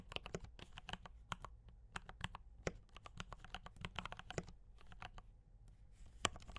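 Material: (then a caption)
Plastic. Fingertips type steadily on a D84 mechanical keyboard with brown switches and cream and red plastic keycaps. The keystrokes are quick, dry clacks that stop almost instantly, with a bright click over a soft low thump. One noticeably harder stroke lands near the end.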